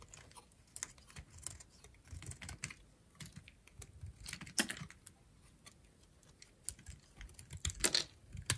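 A metal utility knife blade cuts and shaves pieces off a peach-pink solid oval bar of dried soap held in the hand. The sound is a run of short, dry, crisp scraping clicks and crunches, bright in tone with little low end. They come irregularly, with sharper, louder cuts near the middle and the end.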